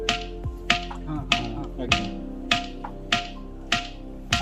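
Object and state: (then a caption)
Ringing stone with a metallic clang. A white ringing stone is struck eight times at a steady pace, each blow giving a short, bright metallic clang with a clear tone near 700 Hz. The ring sounds like brass or a clay pitcher and dies away quickly between strikes.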